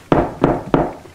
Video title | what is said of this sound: Comment faire un pain maison? | ça sonne creux, ce qui veut dire que c'est bien cuit.